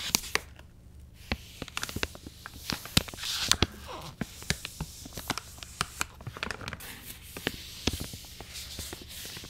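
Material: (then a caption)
Soft plastic. An angled paintbrush brushes the crinkly plastic side of a soft plastic wet wipes pouch standing upright. It makes a steady run of bright, crisp crackles and sharp ticks over soft brushing hiss, with a faint low hum underneath.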